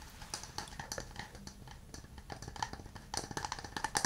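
A hand-sized, hollow, empty burl-wood cup is held in both hands and tapped with fingernails and fingertips on its outside and base. Quick, dry taps give bright clicks with a faint woody tone around 1.8 kHz that dies away almost instantly. The tapping runs in a steady, uneven patter and grows louder and sharper in the last second.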